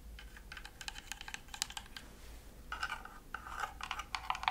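Long nails scratch and tap across the thin plywood-style panels of a wooden Christmas village house decoration. A rapid run of dry, clicky taps with a bright, hollow tone, each dying away almost instantly, grows busier and louder in the second half over a faint steady low hum.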